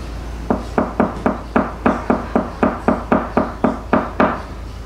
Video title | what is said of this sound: How (and WHY!) to Tap Test a Yacht - DIY YACHT HELP / CATAMARAN REVIEW | difference in sound is because up here there should be firm core